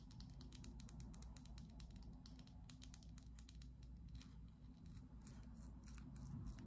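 Long acrylic nails tap and scratch along a small, slim, clear glass perfume bottle with a black cap, partly filled. Rapid, irregular bright clicks and ticks sound over a steady low hum, with a faint scratchy texture between the taps.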